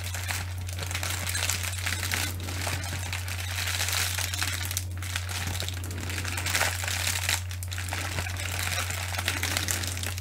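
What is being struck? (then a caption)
Plastic bubble wrap. Long nails scratch and squeeze a bunched-up piece of clear plastic bubble wrap held up in the air, producing continuous bright crinkling and crackling for about ten seconds. A steady low hum runs underneath the whole time.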